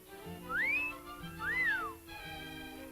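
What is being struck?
Nothing is struck.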